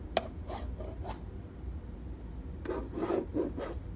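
Fingernails and fingertips tap and rub across a plastic treadmill control panel with an LCD display. A single sharp click comes first, then soft, dry swishing strokes that fade to near quiet and return as a denser run of raspy rubs near the end.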